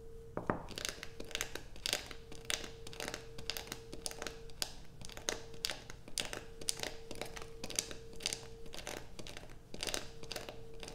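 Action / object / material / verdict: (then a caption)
scrape / solid bar soap scraped with fingernails / soap / none. Long acrylic nails scrape a solid blue soap bar resting on a black plastic sheet. The result is a rapid run of sharp, bright scratching strokes with a crisp, crinkly crunch. A faint steady mid-pitched hum drifts in and out underneath.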